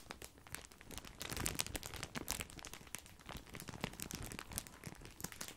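A large, full, white printed plastic bag of grissini breadsticks is crinkled and scratched with fingertips. Quick, bright crackles and rustles come in dense, uneven bursts with a soft low rumble beneath, each crinkle dying away almost at once.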